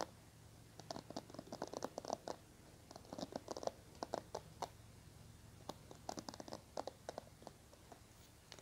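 Fingernails scratch and flick the multicolored plastic bristles of a small teal plastic hairbrush held in the hands. Quiet bursts of dry, crisp clicks and scratchy ticks come in irregular clusters, centered in the midrange with bright edges. Each flick stops almost instantly over a faint steady low hum.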